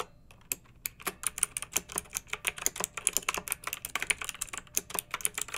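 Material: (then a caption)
Plastic. Long-nailed fingertips type on a pink mechanical keyboard with round retro plastic keycaps and blue backlight, resting on a fluffy rug. A steady stream of crisp, bright plastic clacks follows, each key strike short and dry with almost no low end.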